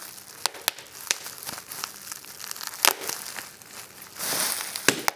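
A fold of clear plastic bubble wrap is squeezed between thumb and fingers, giving sharp, bright pops scattered over a steady crackly crinkle of the plastic. Near the end, a louder stretch of rustling crinkle builds before a couple of final pops.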